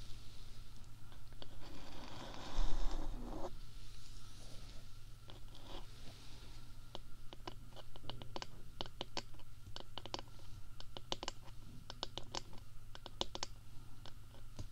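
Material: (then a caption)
Silicone. Long nails tap and scratch the dark, soft silicone/rubber ear covers of a binaural microphone, and hands cup and rub over the ear. A muffled rubbing and scraping swells early on, then gives way to a long run of quick, dry, bright taps over a steady low hum.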